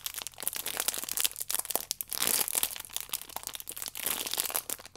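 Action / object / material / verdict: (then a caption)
scrape / stack of paper and foil sachets in plastic film / plastic film / none. A small rectangular stack of paper and foil yeast sachets, wrapped in clear plastic film with a red band, is held in both hands while fingertips and long nails squeeze and scratch the wrapping. Dense, bright crinkling and crackling comes in uneven bursts, with almost no low end and no ring after each crackle.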